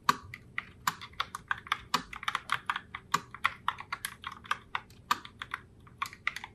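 Long nails type continuously on a pink Logitech Pop Keys Heartbreaker Rose mechanical keyboard with round plastic keycaps. About 35 short, bright plastic clicks and clacks come in a quick, uneven rhythm, each dying away almost instantly with very little low end.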